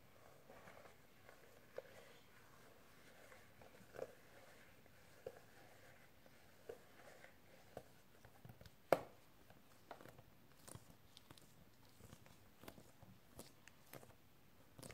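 A medium rectangular, hollow, transparent hard plastic box with bubble wrap inside is held in both hands and tapped with painted fingernails and fingertips. Quiet, irregular light taps and clicks sound dry and short, with a hollow mid-range tone, over a faint hiss. One sharper, louder click stands out midway.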